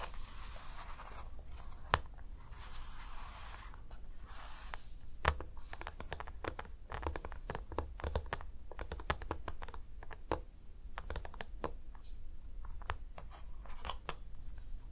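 Fingertips and short nails tap and scratch across a whole, flat milk chocolate bar with a molded square grid, lying on a black surface. Quick, sharp clicks and dry, bright scratches come in irregular bursts over a steady low hum.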